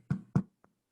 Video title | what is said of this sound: In Our Kitchens with Pat Doyle | You can hear it's hollow, right? Bread that sounds hollow is done.